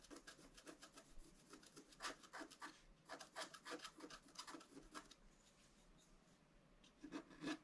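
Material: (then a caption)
Coated paper. A wooden stylus scratches the upper right antler on a flat scratch-art sheet of black coated paper. It makes quick, uneven rasping strokes with a dry, gritty texture and bright upper edges. The strokes come in bursts, then trail off into softer scraping before a few sharper final strokes.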